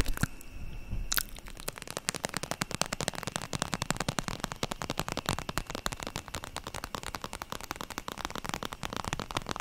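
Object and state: Vinyl makeup bag.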